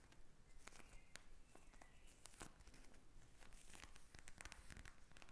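Long nails tap and scratch a pink plastic gel bead eye mask lying flat, making quick, quiet crinkly clicks and scrapes. The taps come in a dense, uneven run with sharp crackly edges over a soft low rumble.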